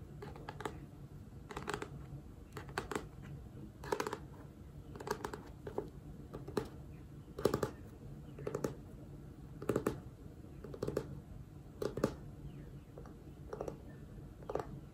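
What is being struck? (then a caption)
Paper book with glossy cover. Long manicured nails tap and scratch the front cover and spine of a hand-sized, solid #GIRLBOSS book with a glossy paper cover as it is turned in the hands. Short, crisp clicky taps land in small clusters throughout, over a soft, continuous scratching rustle with a low-mid body.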